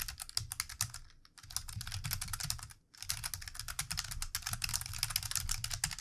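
Fingertips of both hands type on the keys of a plastic computer keyboard, producing rapid, bright clicking taps over a low thud. The typing pauses briefly twice before continuing steadily.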